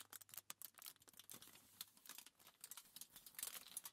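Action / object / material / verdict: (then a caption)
tap / crumpled thin aluminium foil sheet / aluminium foil / none. Long nails and fingertips tap, scratch and rub a crumpled sheet of thin aluminium foil lying flat on a table. Quick, bright crinkles and sharp ticking taps come in uneven bursts, with almost no low end. The sound stays quiet throughout, and each tap dies away almost at once.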